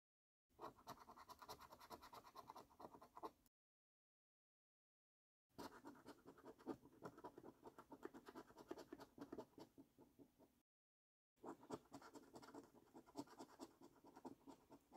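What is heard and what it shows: A coin edge scrapes the silver latex coating off a flat, thin cardboard Luxury Lines lottery scratch card in quick short strokes. Three bursts of dense, raspy scratching, centred in the mid-range, are separated by brief silences.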